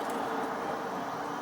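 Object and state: Nothing is struck.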